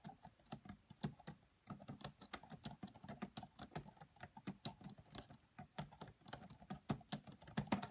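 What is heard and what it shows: Both hands type with fingertips and long French-manicured nails on the black plastic chiclet keys of a red laptop with a hollow body. A steady, quiet stream of short, crisp clicks is heard, bright at the top with a light hollow knock underneath, each tap dying away almost instantly.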